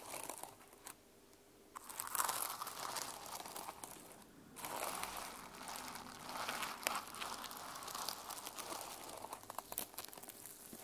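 Long nails scratch and brush across the plastic sequins of a small sequin-covered hardcover journal resting on a wooden table, and the journal is then held up in both hands. The result is a dense, irregular crinkling and crunching rasp with bright, crackly highs. It swells in bursts between brief quieter pauses.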